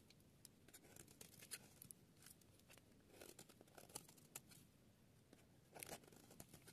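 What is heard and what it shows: A metal utility-knife blade shaves and scrapes curls off the edge of a solid oval yellow bar of dry soap held in a hand with long green patterned nails, sped up to double speed. Dry, crisp scraping and crackly shaving strokes come in quick bursts, bright and hissy with brief sharp ticks. Each stroke stops dead with no ring.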